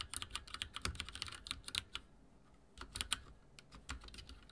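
Fingertips type on a backlit mechanical keyboard with dark plastic keycaps, producing quick, bright clicking taps. The typing comes in two bursts separated by a brief pause near the middle.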